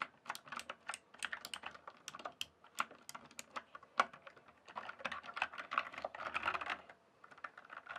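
Fingertips type and press keys on a full-size, backlit plastic RGB computer keyboard. Quick, dry clicks and clacks land in an irregular rhythm, each dying away almost instantly, with a bright tick centered around 1 kHz. A denser flurry of keystrokes near the middle gives way to a brief pause before the typing resumes.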